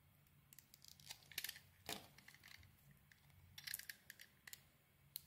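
A metal utility blade carves and shaves a solid, hand-sized bar of blue and red soap held in the palm, peeling off curls. Quiet, crisp, bright scraping and snipping bursts come in short, irregular strokes, each dying away almost instantly over a faint low hum.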